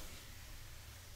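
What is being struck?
Nothing is struck.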